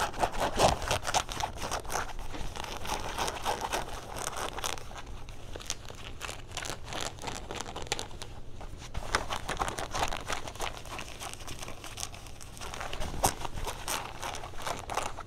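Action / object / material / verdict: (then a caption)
scrape / denim jean shorts / denim / none. Fingernails scratch gray denim jean shorts across the back pocket, front rivets and waistband. A continuous stream of dense, rough scratching and crinkling with bright rasping edges and quick, irregular strokes comes over a steady low hum.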